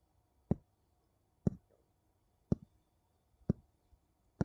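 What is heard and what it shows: Two wooden bowls are tapped against each other, giving five short, dull, low knocks spaced about a second apart. Each tap is brief with almost no ring, and the clip is quiet between the taps.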